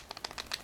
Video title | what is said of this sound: Kydex sheath making part 4 | There is some rattle in the sheath as well. And it's actually more noticeable than my sheath.